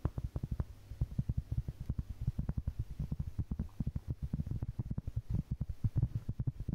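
Long painted fingernails tap and scratch across a large, solid, round flat cork board or trivet held up close. A rapid, uneven string of soft, dull, low thuds follows one after another, each dying away almost at once over a faint low hum.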